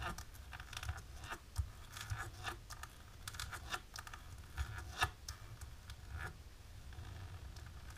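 Long natural pink-tipped nails tap and scratch a flat, dark embossed plastic sheet. Quiet, crisp scratches and sharp little ticks crackle over a soft low rumble, with a few louder taps standing out.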